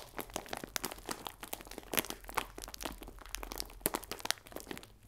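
A clear plastic film bag full of biscuits is squeezed and crinkled with the fingertips. The result is a dense, quiet stream of bright, crackly crinkles with sharp crunchy snaps scattered throughout, each dying away almost instantly.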